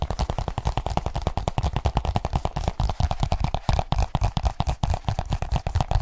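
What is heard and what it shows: Fingertips tap rapidly on a black leather case folded small in the hands. The result is a fast, continuous stream of short, dull, low thuds with very little brightness and almost no ring after each tap.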